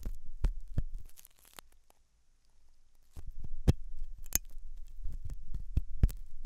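A thin hooked metal dental tool scratches inside the ear canal of a white silicone dummy ear on a binaural microphone. Close, muffled low thuds and scraping rumble are heard, with sharp bright clicks of metal on silicone, a quiet pause in the middle, then more irregular scratching and taps.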